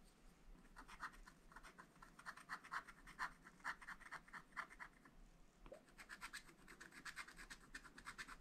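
A wooden stylus scratches the coating off a black wax-coated scratch-art page in a small spiral-bound pad of thin, flat paper. It makes a quick, uneven series of dry, rasping strokes with a bright, papery hiss, broken by a brief lull partway through before the scratching picks up again.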